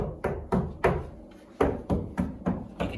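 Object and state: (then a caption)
Hollow stud partition wall. Nine taps on an interior wall in the box room of a 1960s house give dull, hollow, low-pitched thuds that die away quickly. The hollow sound shows it is a non-structural stud partition wall, which could easily be broken through to put in a door for a couple of hundred euro.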